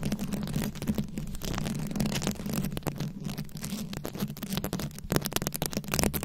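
Long acrylic nails scratch and tap across a fist-sized microphone head fully covered in small glued-on rhinestones and beads. The result is a dense, continuous crackle of rapid clicks and scraping over a steady low rumble. Brighter, sharper taps burst through near the end.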